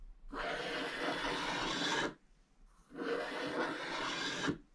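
A wooden stylus scrapes across a scratch-art page, clearing large areas of its black wax layer to reveal the orange beneath, with curled shavings left on the page. Two long, steady, bright rasping strokes are heard, each lasting over a second, separated by a short quiet pause.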